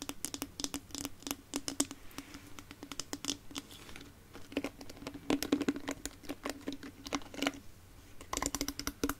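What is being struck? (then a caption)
Plastic hairbrush tapped and scratched with fingernails. Long nails tap and scratch the smooth plastic back and bristles of a small, solid red plastic detangling hairbrush in the Tangle Teezer style, held in both hands close to the microphone. The result is a rapid run of short, dry clicks and scrapes that sounds much like typing, with a faint steady tone near 280 Hz underneath.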